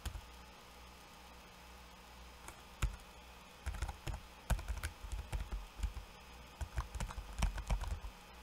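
Fingertips of one hand and then both hands type on a backlit laptop keyboard with plastic keycaps. After a near-silent opening, soft, dull key taps with short bright clicks come in scattered bursts that grow denser toward the end, each one dying away almost at once.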